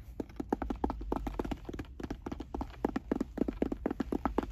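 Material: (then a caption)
Fabric, hard plastic. Fingertips and nails rapidly tap and scratch a hollow, closed, oval sunglasses case with a hard shell covered in brown woven fabric, resting on a car seat. A quick, uneven run of short, dull, hollow knocks centers around 285 Hz, each dying away instantly, with soft scratchy texture between taps over a low background rumble.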